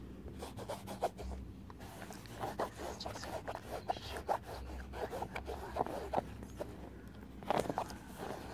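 Long painted nails scratch and tap along the canvas upper near the eyelets of an empty white Vans canvas sneaker with a rubber sole and laces. Soft, dry scratching runs through the clip, broken by quick, light taps that die away almost instantly over a low, steady hum.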